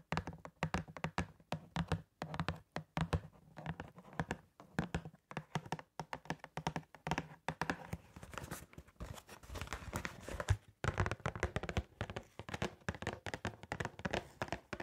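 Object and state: Cardboard glove box tapped with nails.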